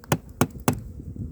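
Three dull knocks strike a rotten wooden beehive, each a short low thud with a quick decay and little ring. Between the knocks, a faint low murmur continues underneath.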